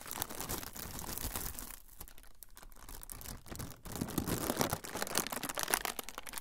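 An air-filled, clear transparent plastic bag is held in one hand beside the recorder while fingertips squeeze and crinkle its surface. Dense, bright crackling and rustling continue throughout, easing into a quieter, sparser stretch in the middle before returning louder and sharper toward the end.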